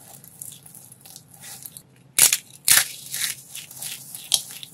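Bare hands with painted nails grab, squeeze and crumble handfuls from a large heap of brittle pink and dark starch-coated soap shards, with the decorative soap flowers around the pile left untouched. Soft, bright crackling gives way to a few loud, sharp crunching bursts that cut off quickly. The sound is almost entirely high-pitched with very little low end.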